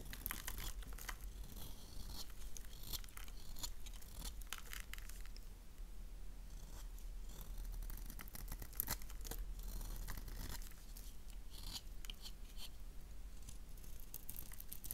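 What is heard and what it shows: A gold knife blade scrapes along the edges of a solid oval black soap bar with an engraved logo. The scraping makes a steady run of crisp, bright rasping and crinkling strokes over a constant low rumble. The strokes come in quick bursts with brief pauses between them.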